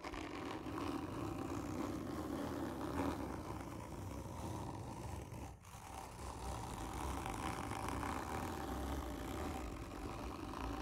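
Long nails scratch hard and slowly across a hollow, textured cardboard tube lying on its side. The result is a steady, dense rasping scrape with a hollow low resonance, holding an even level apart from a brief dip about halfway through.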